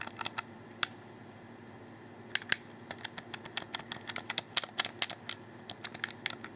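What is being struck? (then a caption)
Plastic game controller. Fingers rapidly click the face buttons of a hollow black plastic Xbox 360 controller held in the hands. A few sharp, bright clicks come first, then a short pause and a fast run of about two dozen more. The clicks are dry with no ring, over a faint, steady low background hum.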